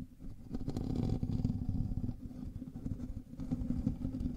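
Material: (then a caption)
Metal mesh. Fingernails of both hands scratch the hollow metal mesh grille of a black microphone. The result is a dense, rumbling scratching texture, heavy in the lows with a steady tone around 230 Hz, that eases slightly midway before swelling again.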